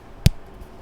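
A piece of a tempered chocolate sheet is snapped in two close to the microphone, giving a single sharp, crisp snap with a low thump that dies away almost instantly. The clean break shows the chocolate is properly tempered.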